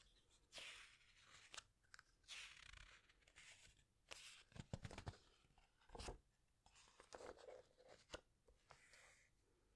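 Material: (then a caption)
Paper. Fingertips and long nails press and rub the glossy paper pages of a large hardcover animal book, and a page is turned. The result is a quiet run of crinkly rustles, bright papery swishes and short crunchy squeezes, with a few sharp ticks from the nails on the slick surface.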